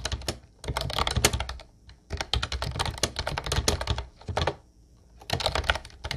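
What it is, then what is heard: Plastic typewriter-style keyboard being typed on. Fingertips type continuously on a mint-blue plastic Ubotie retro typewriter-style keyboard with round white keycaps. The result is bursts of quick, clacky keystrokes with a low thump and bright click, broken by short pauses.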